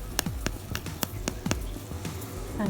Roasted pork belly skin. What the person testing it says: ฟัง เสียงก็รู้ว่าอร่อยนะคะ